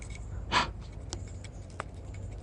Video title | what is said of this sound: Metal Detecting Louisiana: Silver, Relics and Mystery Compacts | Hear that? It's got something on the inside.